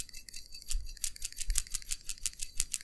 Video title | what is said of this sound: Lexus Burning Oil? Try This First! LEXUS es300 | When you shake the PCV valve, you can hear the check valve moving around.